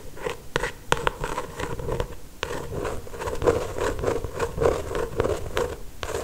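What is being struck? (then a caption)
Paperback book with glossy paper cover. Long acrylic nails tap, trace and scratch along the glossy paper cover of a solid paperback novel. Sharp, quick clicks mix with dry, scratchy scraping over a faint mid-pitched resonance. Each tap dies away almost at once.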